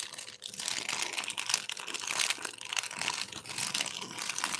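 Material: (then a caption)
Plastic. A thin, translucent, empty plastic bag is crumpled and rubbed between black-gloved fingers. It gives a continuous, bright, high-pitched crinkling with little low end, rising and falling in dense crackles.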